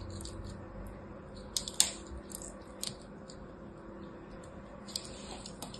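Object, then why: Ball of pressed soap chips. A hand-sized solid ball of pressed blue and purple soap chips, held in the hand, is scraped with a small black blade. Soft, bright, crackly scraping is heard over a low steady hum, with a few sharper clicky snaps standing out.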